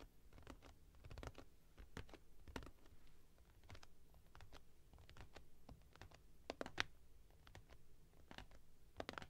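Long nails tap rapidly on the top and sides of an upright, closed cardboard product box while it is held. The result is quiet, irregular bursts of short, dry clicks with bright, crisp attacks that die away almost instantly, over a low, steady rumble.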